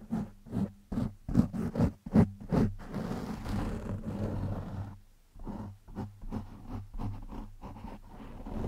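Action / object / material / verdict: scrape / foam microphone windscreen / foam / none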